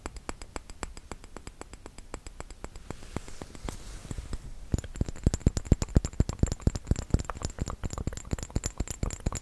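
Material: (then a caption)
Glass. A small round glass bottle filled with red liquid is tapped with the fingertips and nails in a rapid, uneven stream of short, dry clicks with almost no ring. The tapping grows louder and denser about halfway through, and a faint steady high tone appears alongside it.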